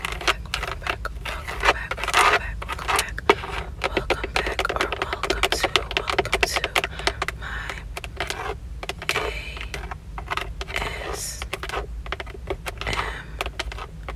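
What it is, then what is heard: Plastic steering wheel airbag cover tapped with nails. Long acrylic nails tap rapidly on the centre hub of a Toyota car steering wheel, striking its textured plastic airbag cover, including single-finger nail taps near the chrome logo. The result is a dense stream of short, sharp, clicky taps with almost no ring, over a steady low hum.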